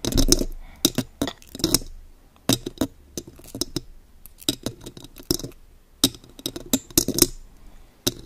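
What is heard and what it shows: Long gold metal claw fingertips tap and scratch a silver metal condenser microphone with a mesh grille and hollow body. Irregular bursts of sharp, bright clicks come with a hollow low thump and die away almost instantly. Softer scratchy rustles fill the gaps between the taps.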